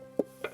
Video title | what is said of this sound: [일터로의 여행] 나무 의사의 하루 / 강원매거진7 / G1방송 / 20240426 | 안에 좀 비어 있는 소리 나죠 아 좀 썩어 있구나